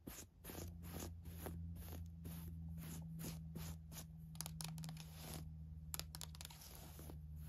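Long nails scratch and tap a navy floral woven fabric camisole top with lining and a tag, making quick, dry rustling and scratching bursts. A steady low hum sits underneath throughout.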